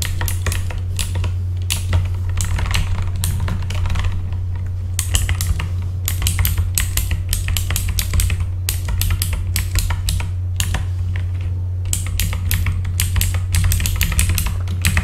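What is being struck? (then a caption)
Mechanical keyboard with plastic keycaps. Fingertips type on a full-size backlit mechanical keyboard with plastic keycaps, producing a steady stream of sharp, bright clicks. The clacks come in fast bursts with brief pauses, over a constant low hum.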